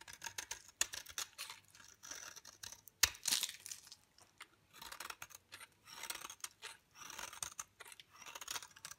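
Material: Soap.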